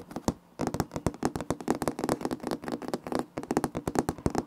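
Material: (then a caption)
Laminate. Fingertips and short nails of both hands rub and scratch across light wood-grain laminate floor planks, a large flat solid surface. After a brief quiet start, a rapid, uneven run of short, dry taps and scratches follows, each one clicky and dying away almost instantly with no ring.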